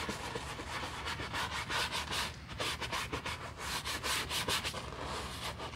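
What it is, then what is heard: Leather handbag being brushed. A wooden-handled horsehair brush scrubs the foam-covered surface of a black leather Chanel handbag lying on a towel. The sound is a steady, bright bristly rubbing in quick back-and-forth strokes with soft foamy crackle and no pauses.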